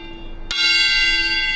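A single tap on a steel railway carriage wheel in a wheel-tapping test, which once checked whether a wheel was fractured or sound by its note. A sharp strike gives way to a bright, bell-like ring with many steady high overtones that sustains to the end of the clip over faint low background noise. The wheel rings clearly, as a sound wheel should.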